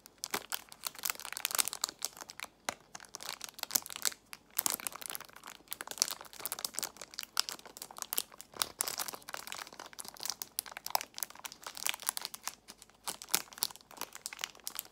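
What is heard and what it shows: Long nails squeeze and crinkle a clear plastic box filled with nail tips, wrapped in cellophane. The result is a dense, continuous stream of bright, crisp crackles and sharp little snaps with almost no low end. Brief quieter gaps break up the crinkling bursts.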